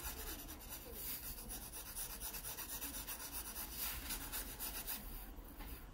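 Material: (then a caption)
Paper. A graphite pencil shades an open paper sketchbook page with fast back-and-forth strokes, rubbing across the paper. A steady, dry scratching rasp with a bright hiss repeats about four times a second in a loose, uneven rhythm over a low rumble.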